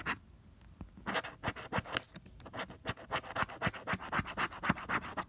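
A pink plastic scraper scrapes the coating off a flat coated cardstock scratch-off lottery ticket, no. 048, held flat by fingers. After a brief quiet start, about 20 short, dry, bright scratching strokes follow in a quick, uneven rhythm, growing steadier toward the end as the scratch coating comes off.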